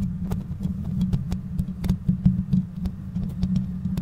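Long manicured nails on both hands scratch and tap the bare perforated metal grille of a black USB condenser microphone with a hollow head and no windscreen. The sound is a dense, boomy low rumble with a steady droning tone around 184 Hz, cut through by many short, sharp clicks that flash up bright and stop almost at once.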